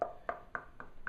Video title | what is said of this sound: Buy to rent part 2 | that's what you're listening out for that hollow sound so you know that there's something wrong with the plaster there